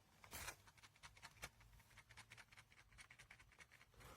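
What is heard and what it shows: The plastic right earpiece of JLab Rewind 2 retro Bluetooth headphones, the side holding the controls for the virtual assistant and track changes, is shaken while held still. It gives a quick run of light, bright plastic clicks and rattles over a faint low background. Unlike the solid left side, the piece is loose and rattles.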